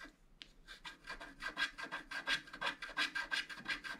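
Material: Coated card.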